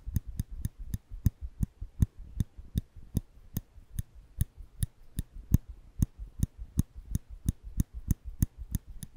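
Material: Steel.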